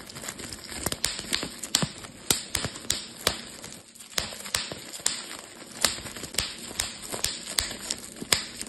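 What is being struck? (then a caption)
Plastic bubble wrap sheet. A clear plastic bubble wrap sheet is pinched and twisted between fingertips, popping its bubbles. A rapid, irregular series of sharp, bright pops and snaps cuts through a soft, steady crinkling hiss, each pop dying away almost instantly.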